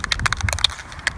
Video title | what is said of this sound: Jeep Power Wheels Custom Restoration | once you hear the ball rattling shake it for about 2 more minutes